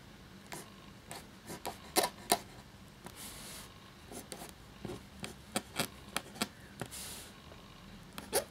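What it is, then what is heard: Quill nib scratching parchment paper. A black feather quill nib scratches across a thin cream parchment-style paper sheet lying flat while writing, with fingertips holding the sheet. About sixteen short, dry, bright scratching strokes come at an uneven pace, some softer, longer rasping rubs between them, all quiet and close.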